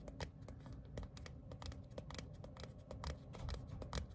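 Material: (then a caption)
Paper. Fingertips and short nails tap and scratch the face and edge of a small, thin printed paper ticket card made of cardstock and held upright. The result is a quick, irregular run of soft, dry clicks and brief scratchy brushes with bright crisp edges over a low, dull rumble, and each tap dies away almost at once.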